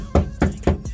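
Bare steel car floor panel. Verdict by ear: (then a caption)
Rattly. Four knocks on the bare steel floor and transmission-tunnel panel inside a stripped NB Mazda Miata, before any sound deadening is applied, each giving a low, hollow thud with a brief tinny rattle. The untreated sheet metal shakes and vibrates like a tin can.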